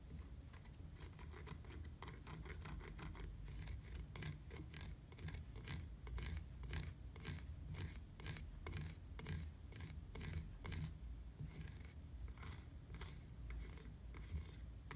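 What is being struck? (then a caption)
Hard plastic bicycle pedal. Fingertips tap and scratch a black hard plastic bicycle platform pedal with a textured surface. The result is a quiet, steady stream of quick dry taps and bright scratchy rasps over a low rumble, each hit dying away almost at once.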